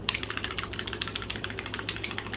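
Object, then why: Plastic paint bottle with an internal agitator. A plastic paint bottle with an internal mixing agitator is shaken vigorously so the agitator mixes the paint, which must be properly mixed before it works. A rapid, steady run of short, bright clicking rattles from the agitator fills the clip over a faint, constant low hum.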